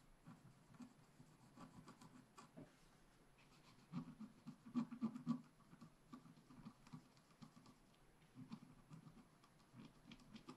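A wooden stylus scratches small strokes into a flat black scratch art paper sheet, working near the leaves at the top right. Quiet, dry scratching comes in irregular bursts of short strokes, with a louder cluster about midway through.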